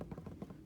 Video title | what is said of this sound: How to Prep Your Embroidery Hoop for the 3D Lily Pad Pond Stitch Along | And you'll know your fabric is taut enough when you give it a tap and it sounds like a drum.